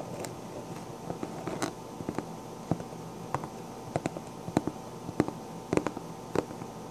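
Long black-painted nails scratch and tap the crown of a pink sequined fabric hat. Soft, papery scratching runs under about twelve short, crisp taps spaced irregularly, each stopping almost at once, over a faint, steady low hum.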